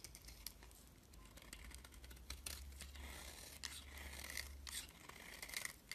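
A box-cutter blade shaves and scrapes curls off a hand-sized solid white bar of soap with a thin blue outer layer, held in hand over a pile of shavings. Soft, bright scraping and crisp crinkly shaving strokes repeat throughout over a low steady hum.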